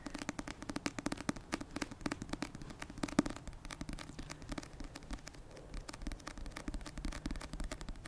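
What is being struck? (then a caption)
Paperback book with card cover. Long red-painted fingernails tap rapidly and continuously on the glossy card cover of the paperback novel "Icebreaker," a solid paper block held close to the microphone. The taps are short, dry clicks with a soft, hollow low thump around 285 Hz, in an irregular, steady patter for about eight seconds.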